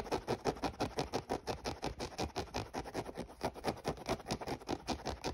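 Fingernails scratch rapidly across the grey mesh upper near the laces of an empty, hollow synthetic mesh running shoe. The result is a quick, steady run of about 28 dry, papery rasps, each fading almost instantly, with a mid-range body and little deep low end.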